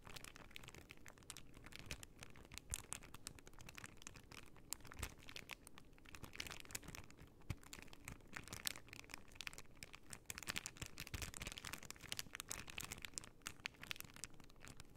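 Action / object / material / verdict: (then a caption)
scrape / plastic sticker sheet in a clear plastic bag / plastic / none. A plastic pearl sticker sheet in a clear plastic bag is held low and flexed while long nails scratch and crinkle the plastic. The result is a steady, quiet stream of bright crinkles and fine scratches, made up of dense, short crackling ticks with no ring-out.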